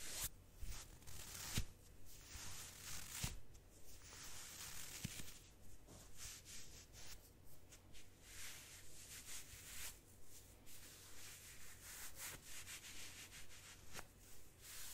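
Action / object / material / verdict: scrape / ribbed cotton gloves / cotton / none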